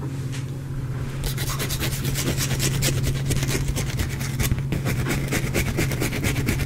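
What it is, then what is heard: Soap bar scratched. A solid, cream-white bar of soap held in the hand is scratched and rubbed with the fingernails. After a quieter first second, dense, bright, rapid scraping strokes begin and continue unevenly over a steady low hum.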